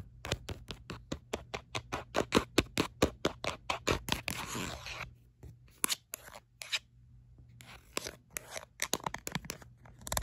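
Long light-blue acrylic nails tap and scratch the textured back of an orange-red rubberised plastic phone case held in the hand. Quick, dry, irregular clicks come in a dense run for the first few seconds, then a brief bright scratching rasp. After that the taps turn sparser, with short quiet gaps, over a faint steady low hum.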